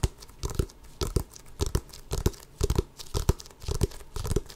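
Long fingernails scratch and tap over the pebbled surface of a full-size, inflated, hollow rubber basketball held up to the microphone. Quick paired bursts repeat at an uneven pace, about twice a second. Each burst mixes dull low thumps with a bright, crinkly scratching, and the sound dies away almost instantly.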